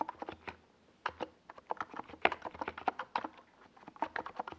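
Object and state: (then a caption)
Plastic mechanical keyboard with tall keycaps. Both hands' fingertips type on a NiZ Plum Atom 68, a compact 68-key mechanical keyboard with a white plastic case and tall purple and yellow Domikey Gas Attack SA plastic keycaps, resting on a desk pad. The result is a brisk run of short, clacky mid-pitched key taps with almost no bass, each dying away almost instantly, with brief pauses between bursts.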